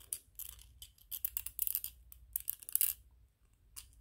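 Fingernails scratch and tap on a small white PLA plastic 3D-printed ghost toy, making quiet, bright, dry clicks and scrapes in uneven bursts that stop almost instantly. A faint low hum runs underneath, and the sounds thin out near the end.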